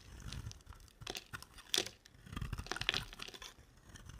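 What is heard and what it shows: A small blade scrapes and carves curled dry shavings off a solid, dry green soap bar, hand-sized and held in one hand. Crisp, crunchy scraping and tearing strokes come in quick, uneven bursts, bright and hissy with a soft low thump beneath, and the sharpest cuts land at about 1.8 and 2.9 seconds. Each stroke stops dead with no ring.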